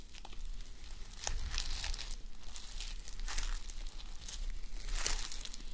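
Fingertips and long nails scratch and rub the plastic flip-sequins of a fabric sleep mask resting on a mannequin head. The result is a steady stream of dry, crinkly scratching with bright rasping bursts over a faint low rumble.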